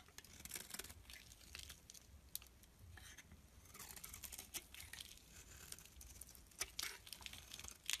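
A metal blade shaves curls off the surface of a rectangular solid mauve bar of soap held in the palm. Dry, bright scraping and scratching strokes come in quick, uneven bursts with crisp clicks and almost no ring, staying fairly quiet throughout.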